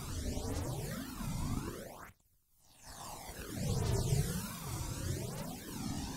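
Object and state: Nothing is struck.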